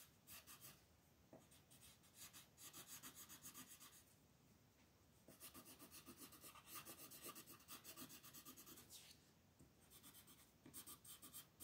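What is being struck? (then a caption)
Wooden colored pencil on a paper sheet. A green wooden colored pencil is rubbed and scratched across a flat, thin paper mandala coloring page on a table while shading. Quiet, bright, rasping strokes come in rapid back-and-forth runs, grouped into several bursts separated by softer pauses.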